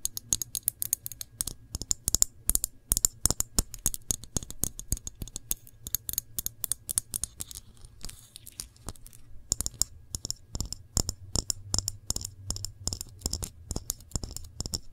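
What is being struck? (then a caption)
Glass jar of jam. Long nails tap and scratch the glass side and paper label of a full glass jar of cranberry jam held sideways. Quick, crisp taps with bright, high clicks come in rapid bursts, mixed with soft scratching over a faint low hum, and each tap dies away almost instantly.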